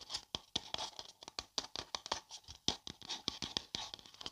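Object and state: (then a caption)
Paper coffee cup. A hollow printed paper coffee cup is held and turned in the hands while long dark nails scratch along its side. Over twenty quick, dry, bright scratching strokes follow one another closely, each fading almost instantly, with very little low end.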